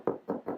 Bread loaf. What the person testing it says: It sounds hollow which is a good sign.